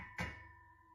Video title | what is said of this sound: ‼️😱Spooky Dreams Storytime Real Experiences💀 l Scary TikTok Compilation💀 | this bed is metal. That's what I heard, just a little deeper because it's cast iron